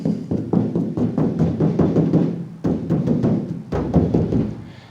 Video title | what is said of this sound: Dirt Floor Garage Buick T-Type build | and this roof is really stinking flimsy but you can tap on it sounds like a drum because there's hardly any filler in it anymore